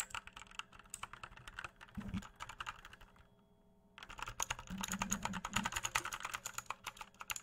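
A full-size RGB-backlit mechanical computer keyboard with plastic keycaps and a hollow plastic case is held up at chest height and tapped and pressed with fingertips. Quick, bright, clicky key taps come in uneven bursts, with a few deeper hollow thumps from the case. The tapping stops for about a second near the middle, then returns faster and denser to the end.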